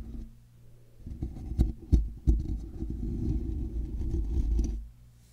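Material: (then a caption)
Metal mesh. Fingers slowly scratch the side of a hollow, black woven metal mesh microphone grille, producing a deep, muffled rumbling scrape concentrated in the low end. A few sharper thumps stand out early in the scratching before it settles into a steady, dull rasp that stops abruptly near the end, leaving a faint low hum.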